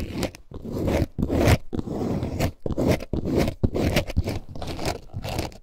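A multicolor snakeskin-print faux leather bag, held in both hands, is scratched with long nails and squeezed, producing dense, irregular crinkling and scraping that comes in rapid bursts. The bursts are separated by brief quiet gaps, and most of the energy sits in the low range.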